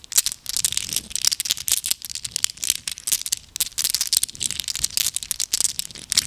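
A handful of small solid glass gems is held in cupped hands with long nails and shaken and rolled against each other. The gems give off a dense, continuous stream of bright, high clinks and rattles, each click dying away almost instantly, with almost no low end.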